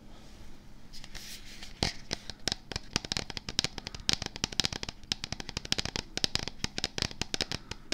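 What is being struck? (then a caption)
Plastic supplement tub. Fingertips and nails tap and scratch the label side of a medium, hollow Axe & Sledge plastic supplement tub with a printed label and black lid, held in both hands just behind the microphone. A quiet start gives way to a rapid, irregular run of sharp, dry clicks with bright, high crackle and no ringing, over a soft low hum.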